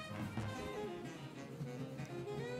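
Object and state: Nothing is struck.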